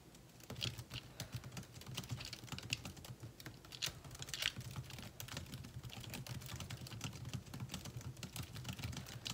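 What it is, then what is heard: Laptop keyboard, plastic keys. Fingertips type fast and continuously on the plastic keys of a thin metal laptop's built-in keyboard. The result is a dense run of short, bright clicks over a steady low hum, with no pauses between keystrokes.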